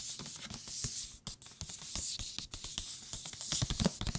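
Fingertips tap a thick paper book on its cover and along its edges, producing soft, quick, dry taps with a low thud and a bright papery click. The taps come in an irregular, fairly rapid run over a light hiss, and the top and bottom edges sound slightly different despite the same thickness and material.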